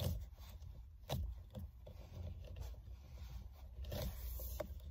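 Long-nailed hands with rings on the fingers grip and scratch around the solid rim of a black, stitched, synthetic-leather steering wheel cover. Soft, irregular scrapes and brushy rubs sit over a steady low rumble, with a few sharper bright scratches standing out.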